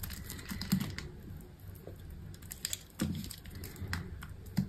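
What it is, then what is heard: Dry soap bar, crumbling. A small knife slices cubes off a solid green bar of dry soap that has been scored into a grid, and the cubes crumble away. The cuts make crisp, dry clicks and crunches with low, soft thuds underneath, each sound stopping almost at once.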